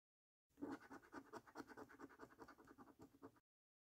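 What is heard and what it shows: A coin gripped in one hand scratches the coating off the games section of a thin paper £1 Million Snack Stack National Lottery scratch card, held flat by one fingertip. Seventeen quick, quiet rasping strokes run for about three seconds, with a dry, papery, midrange scrape and almost no low end.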